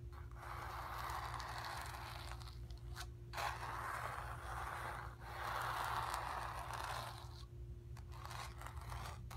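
Long nails scratch the surface of a square, acrylic-painted stretched canvas on a wooden frame, hollow behind and resting on carpet. The result is a steady, papery rasp centered in the midrange, broken into long strokes by brief pauses, over a constant low hum and faint steady tone.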